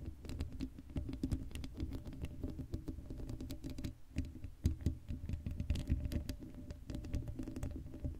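Long blue acrylic nails on both hands scratch across the hollow black woven metal mesh grille of a Blue Yeti microphone head with no foam cover. The result is a dense, rapid patter of short scratchy ticks over a heavy, close low-end rumble, with brief bright clicks and a faint steady hum throughout.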